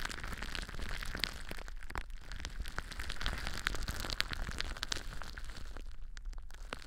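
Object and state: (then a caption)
Plastic bubble wrap. Clear plastic bubble wrap wrapped around a microphone is claw-scratched and squeezed by long blue nails. Dense, rapid crinkling and sharp little pops sit over a heavy low rumble, with bright crackles throughout.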